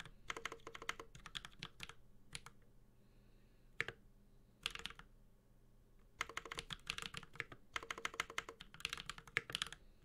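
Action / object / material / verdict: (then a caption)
tap / mechanical keyboard with plastic keycaps and metal case / plastic, metal / none. A Space65 Cybervoyager 65% mechanical keyboard with a metal case, Holy Panda switches and ABS plastic keycaps is typed on continuously with the fingertips of both hands. Bursts of sharp, bright, clacky keystrokes with very short decay come in rapid runs, broken by brief quiet pauses before the typing resumes.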